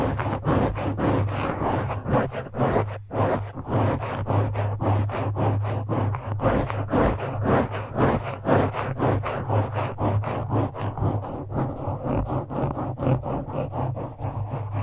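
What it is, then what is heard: Foam microphone windscreen being scratched. Fingertips of both hands scratch and grip a soft, porous black foam windscreen on a microphone. Quick, fairly regular rubbing strokes, about two per second, form a continuous muffled crackle over a steady low hum, with almost no bright high end.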